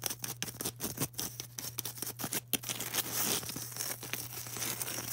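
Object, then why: Polystyrene foam ball. Long orange acrylic nails tap and scratch a solid, palm-sized white polystyrene foam ball. Quick, dry, bright clicks come first, then a denser, hissing scratch over a faint steady low hum.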